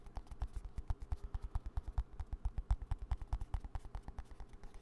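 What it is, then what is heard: Plastic hand cream tube. A small green plastic hand cream squeeze tube is held upright and tapped rapidly with fingertips and nails close to the mic. About 38 quick, dry taps land in a steady stream, each a soft low thump with a faint click on top and almost no ring.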